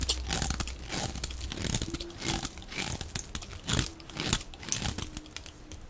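A hand-sized solid bar of dry pale-yellow soap with a blue edge is held in the hand and scraped and shaved with a metal utility blade. Dense, crunchy scraping bursts with a bright, gritty hiss follow one another rapidly as crunchy flakes come away.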